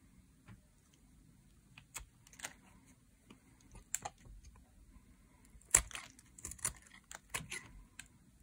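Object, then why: Bar of soap scraped with a metal blade. A metal blade scrapes along a dry, solid green bar of soap, lifting curled shavings. Short, crisp, dry scraping strokes come in quiet, irregular bursts, bright and thin with little low end. Each stroke stops quickly with almost no ring.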